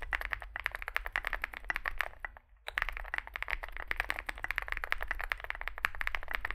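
Two hands type with their fingertips on a Zoom65 65% mechanical keyboard resting on a desk mat; it has a dark metal case, white and grey SA-profile plastic keycaps and lubed switches. Rapid, crisp key taps run steadily with a bright clack centered around 1.8 kHz and a low thock beneath. The typing briefly stops for a short pause partway through, then resumes.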